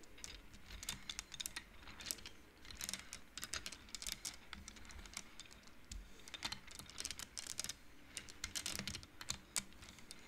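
Fingertips and nails push the painted wooden beads along an upright wooden-frame abacus so they knock together. Quick, dry, bright clicks come in irregular bursts and clusters, each tick dying away almost instantly over a faint low background.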